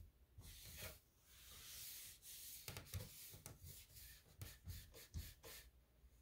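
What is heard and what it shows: A soft cloth held in the fingertips rubs across the solid panelled drawer front of a light gray painted particleboard nightstand with black metal handles. Long, airy swishing strokes with a bright hiss give way to quicker, shorter wipes, each landing with a soft low thump.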